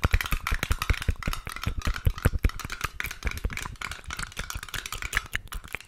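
A small, filled, round metal Balea care-cream tin with a pink printed lid is held close and tapped and scratched on the lid with long nails. Rapid, irregular dry clicks and taps carry low thuds, layered with a bright, scratchy rasp. Each hit dies away almost at once.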